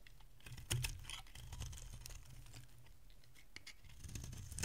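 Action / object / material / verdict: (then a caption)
scrape / bar of soap shaved with a metal blade / soap / none. A solid, rounded bar of dry pink soap held in the hand is shaved into curls with a metal utility blade. Soft, crisp scraping strokes come with bright ticking clicks over a steady low rumble. The shaving stays quiet and irregular, swelling into a louder scrape at the end.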